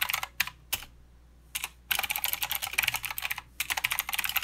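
Steady two-handed fingertip typing on a mechanical keyboard with plastic keycaps and clicky blue switches produces bright, crisp clacks in quick bursts. Short pauses separate the flurries of keystrokes, and each click dies away almost instantly.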